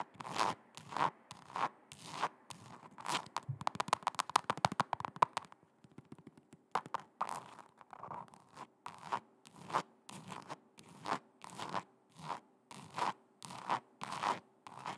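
Long red nails tap and scratch a hollow, empty silver metallic faux leather ankle boot with a heel and a strap, held by the microphone. Crisp, scratchy strokes repeat at a steady rhythm, broken by a fast flurry of light taps in the middle, over a faint steady hum.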